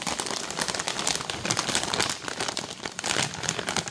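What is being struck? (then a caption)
Plastic film snack bag. Long nails tap and crinkle a printed plastic film bag of cheese puffs that is filled and puffed with air. A dense, continuous run of bright, crackly crinkling and quick taps fills the clip, with little low-end weight.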